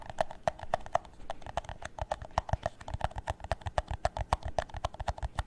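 An empty, hollow clear plastic drinking cup is held upside down and tapped on its base and walls with fingertips and nails. The result is a quick, uneven run of dry, hollow clip-clop taps with a tone around 660 Hz and almost no ring.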